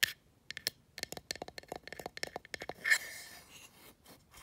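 Long acrylic nails tap and scratch the printed face and open, rimmed back of a small, hollow, black painted wooden box sign with white cupcake/muffin text, lying on carpet. A rapid series of short, bright, clicky taps is heard, then a louder scratchy scrape that fades into softer, hissy scratching.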